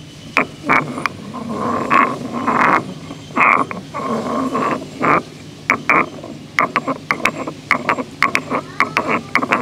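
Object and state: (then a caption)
Stone mortar and pestle being ground. A solid stone pestle is ground and rotated by hand inside a hollow, grey carved stone mortar. Gritty scraping rasps alternate with quick, sharp clicks and taps, each carrying a bright stony ring near 1.1 kHz that dies away fast. Toward the end, the strokes become short, rapid knocks.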